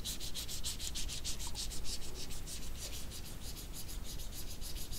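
Small dried jujubes are rubbed against each other between the fingertips of both hands. The result is a steady, rapid series of dry, bright scratchy rubbing bursts over a low, soft rumble.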